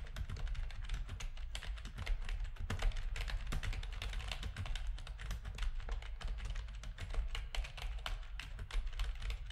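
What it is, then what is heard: Plastic computer keyboard being typed on. Fingertips of both hands type steadily on a full-size black plastic RGB-backlit keyboard with a hollow plastic housing, resting on a desk. Rapid, short clicky taps with bright tops and almost no ring run continuously over a steady low hum near 59 Hz that carries most of the energy.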